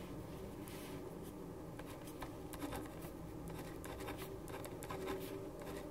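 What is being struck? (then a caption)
Paper sheet with ballpoint pen. A black ballpoint pen writes on a white sheet of paper resting on a wooden desk. Its tip makes soft, steady scratching strokes across the paper, with a low, quiet hum underneath.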